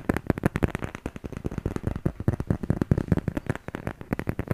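A handheld smartphone in a solid black plastic/silicone case is held in front of the microphone and tapped and scratched with fingertips and nails. Rapid, dry taps and scratchy clicks follow one another closely, each with a low, thumpy body and almost no ring. The steady stream of close-up tapping goes on through the whole clip.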